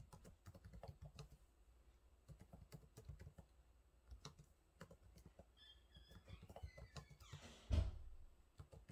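Fingertips type steadily on the low-profile plastic keys of a silver laptop, making a quick run of soft, dull taps with deep, muffled weight and very little ring. Partway through, faint high chirping tones drift in, and a louder broadband swish ends in a heavier thump near the end before the light tapping resumes.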